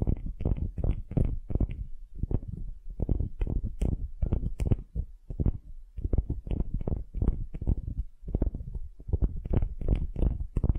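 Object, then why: Wooden ball. Long glittery nails scratch a solid wooden ball held in both hands, making a dense run of short, low, rumbling scratch strokes with only faint brighter edges. The strokes come in quick clusters, easing off briefly about every few seconds before starting again.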